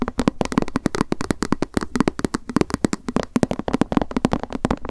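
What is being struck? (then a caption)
Small plastic lunch box tapped with long nails. Long acrylic nails tap quickly on a small, hollow white plastic lunch box with a cat print, held in the hands. The result is a rapid, uneven stream of short, dry, hollow clicks with a low knocking body around 230 Hz and a crisp high edge, each tap dying away almost instantly.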